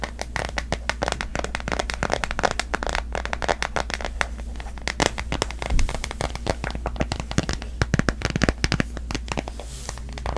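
Long nails tap rapidly on a smartphone in a solid pastel printed plastic case, giving dense, dry clicks and crackles with almost no ring over a steady low hum.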